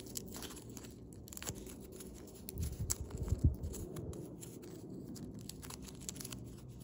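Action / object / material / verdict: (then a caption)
scrape / thin foil origami paper / foil paper / none. A thin blue foil origami paper crane is being folded, its neck and tail points creased and pinched with fingertips and thumbnails. Soft, steady crinkling and crackling sits over a low, quiet rumble, with brief bright crackles throughout. A louder run of crunchy creases comes near the middle before the sound settles back to gentle rustling.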